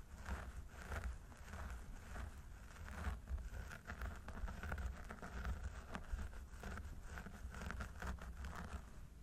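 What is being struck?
Synthetic hair on a mannequin head.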